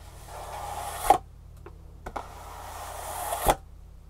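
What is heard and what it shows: Long fingernails scratch and tap the end face of a hollow, printed green cardboard shoe insole box held at an angle. Two long, rising scratching swells each end in a sharp, papery tap around 750 Hz, with a couple of lighter taps between them, for four hits in all. Each tap dies away almost instantly.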